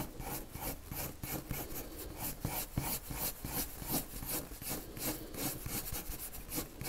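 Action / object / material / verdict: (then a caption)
scrape / colored pencil on a paper drawing sheet / paper / none. A lavender colored pencil rubs circular shading strokes onto a white paper sheet. It makes a soft, continuous scratchy rasp with bright grainy texture, swelling and fading in a loose, uneven rhythm of roughly three strokes per second.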